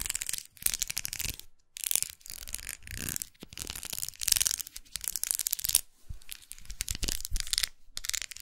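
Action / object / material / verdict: scrape / twisted plastic makeup brush handle / plastic / none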